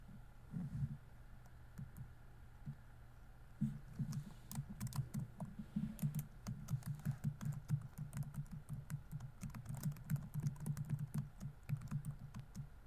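Fingertips type on a laptop keyboard with plastic keys, producing soft, dull, low-pitched clicks and taps that die away almost instantly. The keystrokes start sparse and scattered, then settle into a steady, rapid typing rhythm from about four seconds to the end, over a faint constant hum.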